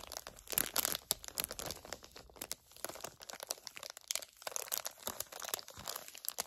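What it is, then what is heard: Plastic eye pad package. Fingertips and long nails crinkle and bend a flat plastic package holding gel eye pads. Dense, bright crackling and crinkling comes in quick, dry bursts with almost no low end. The sound stays quiet and close, each snap dying away instantly.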